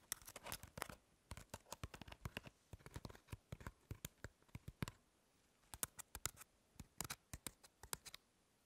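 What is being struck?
Crumpled aluminum foil ball.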